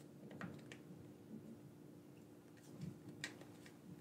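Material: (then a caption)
Plastic. A black corded PlayStation-style gamepad with a hand-sized hollow plastic shell is held in both hands while fingertips and thumbs press and click its buttons and sticks. About six soft, bright plastic clicks stand out over a quiet, steady low hum.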